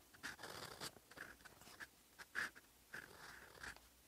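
A silver metal fountain pen nib writes in olive ink on a flat sheet of lined writing paper, scratching across the paper surface. Quiet, dry scratchy strokes come in short bursts with a bright, papery hiss centered around 1.7 kHz and almost no low end.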